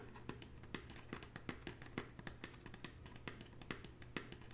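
Long natural fingernails tap across the woven surface of a hollow red braided straw bag. Quiet, dry, bright ticks land in an irregular run with almost no ring, over a steady low hum.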